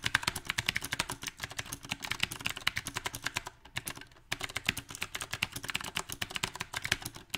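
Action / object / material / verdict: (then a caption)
tap / mechanical keyboard with round plastic keycaps / plastic / none. Both hands type fast with their fingertips on a compact backlit mechanical keyboard with round plastic typewriter-style keycaps. A rapid, uneven stream of sharp, bright clacks with very short decay is heard, centered around 1.6 kHz. It pauses briefly near the middle, then resumes at the same pace.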